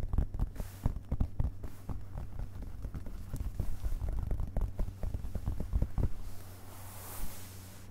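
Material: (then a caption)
Paper. Fingertips of both hands tap and rub on the printed paper pages of a hardcover book lying open on carpet. A quick series of soft, dull, low thumps runs through most of the clip over a faint papery brushing. The last stretch is mostly quieter rubbing.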